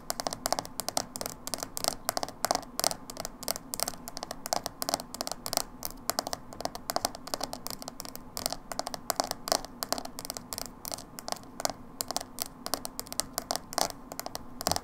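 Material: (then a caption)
Plastic. Long nails tap and scratch the side of a small, hollow, dark blue plastic hair dye tub with a printed label. The result is a steady run of quick, bright clicking taps with a hollow plastic tone near 690 Hz, mixed with scratchy scraping. Each tap dies away almost instantly.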